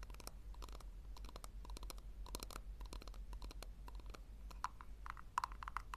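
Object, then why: Small round plastic tub. Long nails scratch and tap the bottom and rim of a small, round, hollow pink plastic tub held in the hands. Quick, dry clicks and scratchy strokes carry a hollow tone near 1 kHz, with a few sharper taps near the end. A steady low hum runs underneath throughout.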